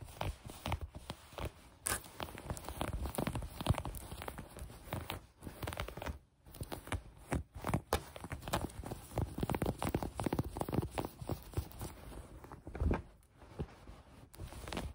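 Green knit fabric bunched on a table is squeezed with the fingers and scratched with long nails. The result is a continuous run of soft, dense scratching and rustling with quick crinkly bursts, mostly low and muffled, with a few brief pauses.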